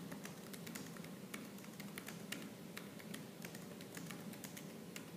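Fingertips and nails type rapidly on a laptop keyboard with black plastic keys, producing a fast stream of short, bright clicks and taps. Beneath them sits a steady low, muffled rumble, and each keystroke fades quickly.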